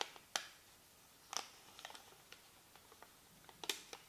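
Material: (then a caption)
Paper. A small white paper receipt is held between the fingertips of both hands, and the fingers crinkle and rub the thin slip. Quiet, bright, crisp crackles and sharp ticks pop out of a soft rustle, each dying away almost instantly, with almost no low end.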